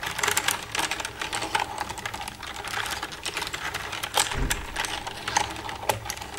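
Long red nails tap rapidly across the keys of a black plastic computer keyboard. The result is a dense stream of bright, dry plastic clicks with a clacky tone near 850 Hz, each dying away almost instantly, plus a brief low thump partway through.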